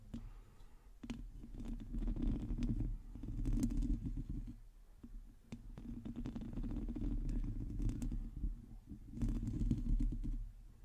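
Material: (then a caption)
Metal mesh. Long teal nails scratch the hollow metal mesh grille of a black microphone. The result is a dense, muffled, rumbling scrape, mostly low in pitch with faint brighter ticks. It comes in sustained bursts separated by brief quieter pauses.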